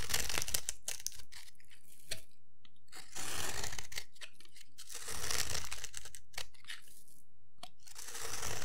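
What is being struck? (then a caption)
Bar of soap. A metal blade scrapes and shaves along the surface of a solid rectangular bar of dry white soap held in the hand, producing crumbly flakes. The result is bursts of dry, crunchy, tearing scrapes, bright and crackly, separated by short quiet pauses.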